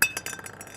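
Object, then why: Carbon fiber composite part. Pressed carbon-fiber composite parts, made from carbon-fiber pads flooded with material and pressed under heavy pressure at temperature, are tapped together in six quick clinks. Each gives a bright, short, glass-like ting that sounds almost metallic because of the material's high modulus.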